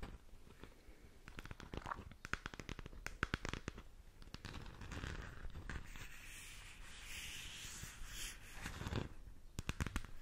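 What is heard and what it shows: Long nails rub and scratch the textured surface of a hollow plastic galaxy moon lamp, making dense, dry crackling clicks and scraping. Sharp taps and rasps burst in quick clusters over a steady low rustle, each one dying away at once. Softer stretches of rubbing fall between the busier scratching passages.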